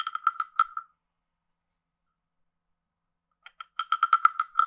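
A wooden stick taps and scrapes the ridged back of a hand-sized, carved, hollow wooden frog guiro. A quick cluster of dry, hollow clicks sits around a woody pitch with bright overtones. After a long silence, a second, busier run of clicks follows, each one stopping almost instantly.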